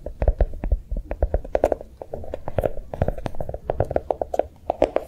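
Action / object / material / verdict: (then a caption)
tap / chocolate-shaped notebook / unknown / none. A notebook made to look like a bar of chocolate is tapped quickly with soft, rapid taps. Each tap is a short, dull knock with a low thump and a midrange click that dies away almost instantly, in an uneven, steady patter.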